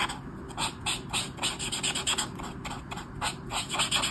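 A hand scratches and rubs the tip of a black Touchnew-style brush marker over a flat paper page of a colouring book on a table while colouring a mandala. The result is a quick, uneven run of bright, dry scratchy strokes, peaking around 3.3 kHz, over a faint steady low background.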